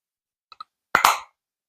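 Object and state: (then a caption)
Sturdy plastic blush compact. A plastic makeup blush compact is knocked to show its sturdiness: two small, quick light taps are followed by two louder, fuller knocks that fade quickly. The sound is dull and muffled rather than flimsy, with a midrange body and some bright edge. The packaging is sturdy, high-quality plastic.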